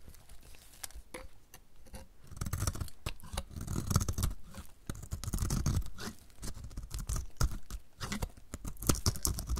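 A utility knife blade scrapes thin flakes off the cut face of a solid, pink-red painted dry bar of soap held in the hand. The sound is a steady run of quick, dry, crisp scraping strokes with bright edges and soft low thumps underneath, swelling and easing in waves. Each stroke stops short with almost no ring.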